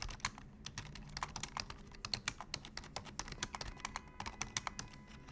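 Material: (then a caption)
Plastic. Fingertips type on a black plastic full-size computer keyboard, pressing both the regular keys and the wide keys. The result is a steady run of quick, bright, dry clicks with almost no ring, over a faint low hum.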